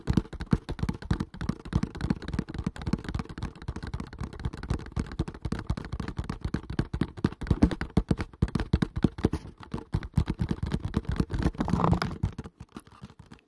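A small, hollow kraft cardboard product box is held in front of the mic and tapped and scratched rapidly with nails and fingertips. The result is a dense, steady stream of short, dry, low thumpy taps with almost no ring. A brief brighter scratching swell comes near the end before the sound thins out.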